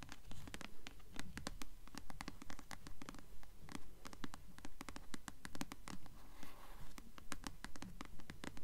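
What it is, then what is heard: Paperback book with paper cover. Long nails scratch and tap the glossy paper cover of a blue paperback novel, *Delirium*, held upright. The result is a steady, fast rhythm of short, crisp scratches and dry taps, each quickly fading, over a soft low rumble.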